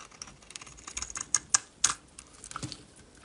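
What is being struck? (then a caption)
Bar of soap shaved with a metal blade. A solid purple bar of soap, held in the hand, is shaved into flakes with a metal utility knife blade. Quick, bright, crisp scraping ticks come at an uneven pace, with a few sharper, louder strokes standing out. The sound is high and thin, with almost no low end and very short decays.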